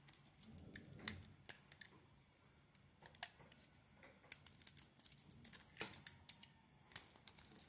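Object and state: Soap bar being scraped with a blade.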